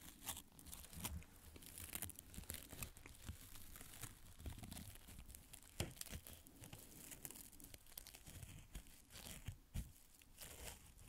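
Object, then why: Fabric adhesive tape pad brushed with bristles. A fan paintbrush's bristle tip is scratched and brushed repeatedly over a small, thin, flexible square of beige fabric adhesive tape pad held in the fingers. The result is a quiet, continuous scratchy rustle with a low rumble underneath and frequent short, bright, crackling strokes that stand out above it.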